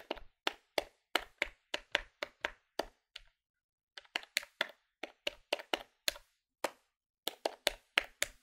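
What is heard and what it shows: A plastic electronic desktop calculator, held in one hand above a wooden table, has its plastic keys tapped quickly with the fingertips, producing 27 sharp, dry clicks with a brief pause near the middle. Each click is bright and crisp, dies away almost instantly, and has very little low-end weight.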